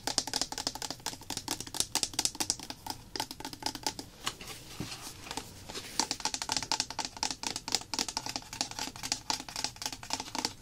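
Long nails tap quickly on a small, apparently full white plastic bottle of clear PVA solution with a paper label. The result is a dense run of rapid, bright, dry clicks with almost no ring, easing into softer, scattered taps for a moment in the middle before the fast tapping picks back up.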